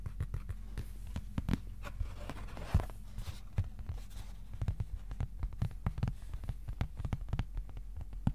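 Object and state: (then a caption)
Cardboard sheet. A thin, flat white cardboard sheet about A4 size is held upright and tapped with the fingertips of both hands. The result is a quick, irregular run of soft, dull, low-heavy taps that die away almost instantly, with a brief papery rustle partway through.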